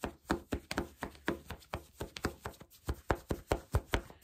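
Fingertips and nails rub and scratch black soft cotton fleece sweatpants worn on the body, with the elastic waistband visible. Nineteen quick, dull scratching strokes land in a steady rhythm over about four seconds. Each is a soft, low-heavy brush that dies away almost at once.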